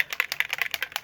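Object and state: Spray bottle with a mixing ball inside.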